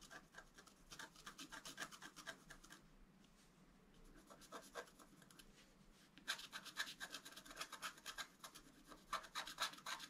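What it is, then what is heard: Scratch art paper card. A wooden stylus scratches along the antler design on a flat black-coated scratch art card in quick rubbing strokes, making a bright, dry rasping texture. The strokes are steady at first, drop to a faint scratch for a few seconds in the middle, then return louder and denser near the end.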